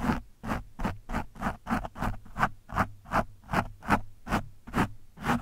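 A screwdriver tip pokes and scratches an orange foam windscreen on a microphone in 13 quick, slightly uneven strokes. Each stroke is a short, dry, scratchy rustle with a soft low thump, centered in the midrange with faint bright edges. The strokes stop almost instantly, with no ring between them.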